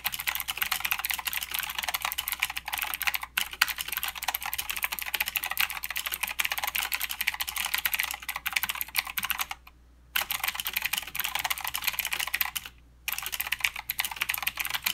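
Fingertip typing with both hands on a mechanical keyboard with plastic keycaps and clicky blue switches produces a rapid, continuous stream of bright, sharp clicks that decay almost instantly. The typing pauses briefly near the ten-second and thirteen-second marks before resuming.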